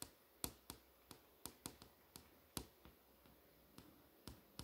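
Long nails tap and trace over the text of a movie info page on a flat glass touchscreen display. About a dozen short, sharp, bright clicks land at irregular intervals over a quiet background, each dying away almost instantly.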